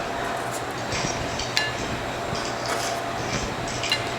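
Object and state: Crispy baked pita chips.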